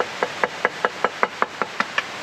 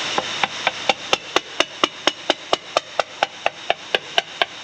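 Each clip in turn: First: A steady run of about ten crisp knocks on a welded metal manifold, each clean and even, so it passes. Second: A steady run of short, flat hammer taps on a metal manifold, dead rather than ringing, at a crack.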